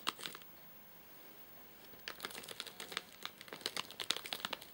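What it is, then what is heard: Plastic-wrapped nougat bar package. Fingertips and short nails tap and scratch the top of a flat, sealed white plastic/paper-laminate nougat bar package with crimped edges, full of nougat bars and lying on a sofa. A couple of sharp crinkly taps open the clip, followed by a quiet pause of about a second and a half. Then a dense run of quick, bright crackling taps and scratches continues to the end, each one dying away almost instantly.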